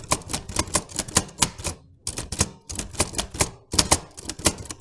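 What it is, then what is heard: Manual typewriter typing. Fingertips type on the round keys of a black metal portable manual typewriter with a sheet of paper in the carriage. Quick runs of sharp, bright clacks with low thumps beneath them die away almost instantly, broken by two brief pauses.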